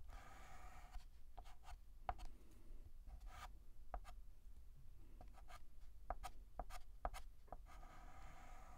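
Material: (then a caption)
Chalk. A hand writes R strokes with a stick of white chalk on a large, flat, black painted blackboard. Short, dry scratching strokes come in quick bursts, some with a faint squeaky tone around 730 Hz, over a quiet, low background hum.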